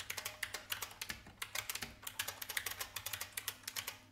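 Fingertips with long red nails from both hands type rapidly on a large, hollow-bodied vintage beige IBM mechanical keyboard with plastic keycaps. Each keystroke is a bright, sharp plastic clack that dies away almost instantly, forming a quick, uneven run of clicks over a faint steady low hum.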